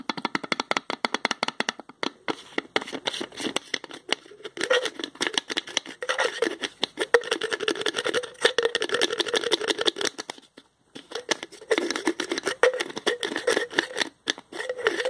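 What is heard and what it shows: Fingertips twist the green plastic screw cap on a small spice jar with a paper label, making rapid, dense clicking and scraping sounds. The ticks come in quick bursts with brief pauses, carrying a bright, dry tone centered in the midrange.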